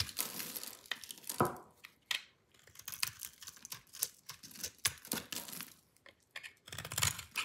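A metal utility-knife blade scrapes and scratches through a solid rectangular bar of dry pink soap, pre-scored into a grid and held in hand, crumbling it into small cubes. Dry, bright crunching and crackling bursts come in quick succession, each dying away almost at once, with short quiet gaps between them.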